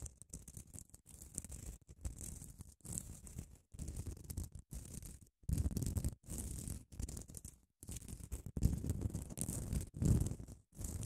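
Long acrylic nails scratch along the surface of a long grey padded emery nail file held in both hands. The result is a series of soft, dry rasping bursts separated by brief pauses, with a low rumbling body and a faint bright hiss on top.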